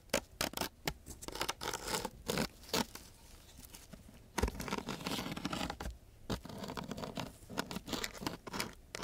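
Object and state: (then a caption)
Sandpaper sheet scraped. Two thin wooden sticks are scraped across the gritty surface of a coarse sheet of sandpaper, making rough, bright scratching sounds. Short, rapid strokes come in bursts, then give way to a longer, steadier scrape before the quick strokes return.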